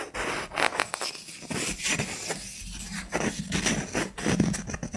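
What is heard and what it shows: Fingertips and nails scratch and tap the top of a round, flat, solid wooden jar lid with visible grain, held close. Dry, papery scratching alternates with short, soft taps that die away almost at once, with bright high hiss over a woody low thump.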